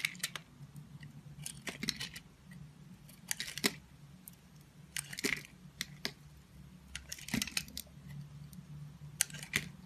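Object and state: Bar soap being carved.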